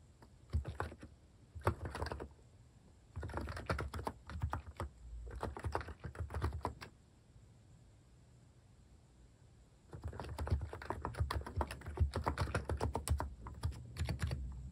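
Fingertips type on a plastic mechanical keyboard with cat keycaps resting on a wooden desk, producing dull, short, low-weighted clacks in quick irregular bursts. Several brief typing runs are followed by a quiet pause of about three seconds, then a longer, steadier stretch of typing to the end.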